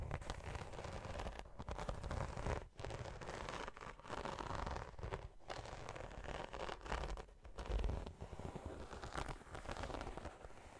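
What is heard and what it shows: Long nails scratch and tap across the textured scales of a large black glossy croc-embossed faux leather tote. The result is a steady, close, crinkly scratching with soft dry crackles over a low rumble, dipping briefly between strokes.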